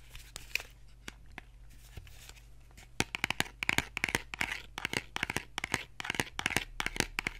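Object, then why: Small cardboard box. Fingernails scratch and tap the surfaces of a small, hollow, printed cardboard box held in one hand. Sparse soft taps and papery scratching come first, then a dense run of quick, dry, bright taps and scrapes with almost no ring. A faint steady low hum sits underneath throughout.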